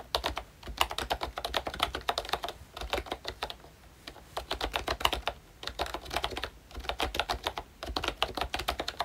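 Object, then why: Plastic membrane keyboard with round plastic keycaps. Fingertips of both hands type on a full-size pink ROYCHE Disney Mickey Mouse retro keyboard, which has a plastic case, round dark green plastic keycaps and membrane switches. Bursts of quick, soft plastic clicks and taps, bright with little low end, come in runs separated by brief pauses. Each tap dies away almost at once.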